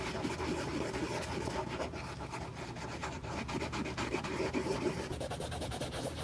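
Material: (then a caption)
Leather. A cotton swab held in metal tweezers by gloved hands rubs along a light grey quilted leather handbag, working over the leather, the stitching and a soft creased corner. A steady run of soft, dry rubbing and rasping strokes continues throughout, with a faint low background tone underneath.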